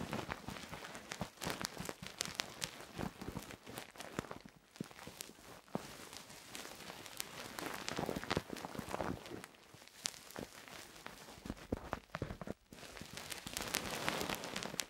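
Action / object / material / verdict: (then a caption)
scrape / silicone microphone ear scratched with a thin wooden stick / silicone / none. A thin wooden stick, held by fingers with long nails, scratches inside the hollow, molded ear canal of a soft silicone binaural microphone ear. The sound is a dense, irregular run of close crackling and rasping scrapes with bright, sharp transients. Brief quieter dips fall near 4.7 and 12.6 seconds before the scratching resumes.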